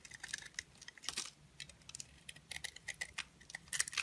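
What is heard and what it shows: A utility knife blade shaves the surface layer off a solid pink oval bar of soap with dark hearts and a lilac interior, held in fingers with long glittery pink nails. The blade makes a quick series of short, dry, bright scraping crackles with almost no low end. The crackles come in uneven bursts that stop almost at once.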